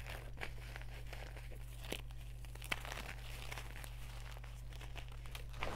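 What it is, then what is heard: Gym chalk blocks being crumbled. Bare hands grab, squeeze and crumble solid white gym chalk blocks (magnesium carbonate) from a pile of chunks and powder on a round tray, crushing and rubbing them with the fingertips. The result is a quiet, continuous stream of dry crinkling and crunching with a few sharper snaps, over a steady low hum.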